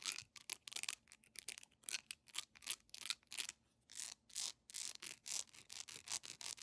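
Long manicured nails scratch fast at a hand-sized, solid, yellow honeycomb-textured beeswax pillar candle with a wick at the top, held in both hands. The result is a rapid run of short, dry, bright scratching strokes with almost no low end, some bursts close together and others separated by brief gaps.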